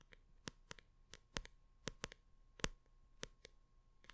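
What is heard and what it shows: A large hardcover art book with a printed paper cover is held upright while long red nails tap and scratch its front cover. About 13 quick, dry clicks come at an uneven pace over a faint hiss. Each one is sharp and bright and dies away almost at once.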